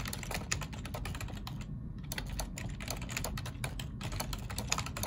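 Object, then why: Plastic computer keyboard. Two hands type rapidly with their fingertips on a black plastic ergonomic computer keyboard, producing dense, bright clicking keystrokes. The typing pauses briefly near the two-second mark, and a steady low hum sits underneath throughout.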